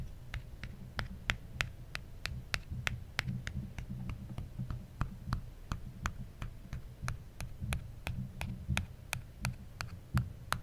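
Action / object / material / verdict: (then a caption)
tap / aluminum phone back / aluminum / none. A fingertip and nail tap the aluminum back of an original iPhone, a small solid handheld device held in one hand. About 32 short, bright ticks come at a steady pace, each dying away almost instantly, over a low, throbbing hum.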